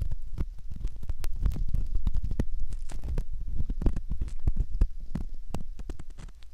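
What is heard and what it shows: A curved metal ear pick scrapes the inner surface of a soft silicone ear, likely the ear of a binaural microphone. It makes a dense run of close, muffled scratching and crackling with a deep, rumbling low end and brief sharp clicks flashing up bright. The texture holds steady for the whole clip and fades slightly at the end.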